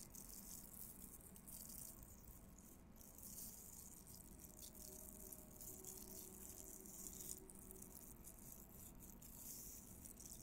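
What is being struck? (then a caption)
Plastic mesh hair roller. A small, hollow pink plastic mesh hair roller with bristles is held and turned in both hands while long fingernails scratch across it. The result is a quiet, continuous, crackly rattle with a bright, hissy high end over a soft low rumble.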